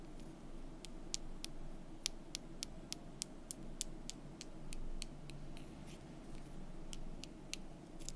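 Long fingernails tap and scratch along a thin, solid painted wooden month strip from a calendar, held in the fingers. A series of sharp, bright clicks, each dying away almost instantly, rises over a steady low background hum, with softer scratching between the taps.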